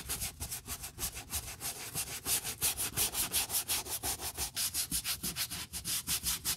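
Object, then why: Leather boot scrubbed with a bristle brush. A gloved hand scrubs the wet brown leather upper and sole welt of a dusty leather boot with a wooden block brush to clean it. Quick, steady back-and-forth strokes, roughly three per second, produce a bright, bristly rasping hiss that swells and fades with each pass.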